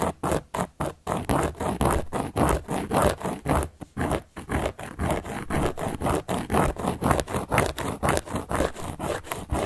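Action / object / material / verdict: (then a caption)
scrape / round cork board / cork / none. A carving tool scratches across a large, round, solid cork board in a steady run of short, rasping strokes. The scraping is dry and mid-toned with a low rumble underneath and little high-end brightness, each stroke stopping quickly with almost no ring.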